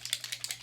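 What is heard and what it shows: A bareMinerals bareSkin Serum Foundation bottle with a small mixing ball inside, fitted with a dropper applicator, is shaken. Six quick, bright, clicking rattles are heard as the ball knocks inside. The sloshing sounds very liquidy, showing the serum is thin.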